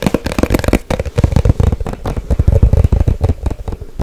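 A small, hollow white cardboard box held near the mic is tapped fast with long nails in a rapid, uneven flurry of dry, hollow knocks. The taps are mostly deep thumps with a muted knock around 500 Hz and very little high brightness. Each tap dies almost instantly, giving a crackly, dense patter.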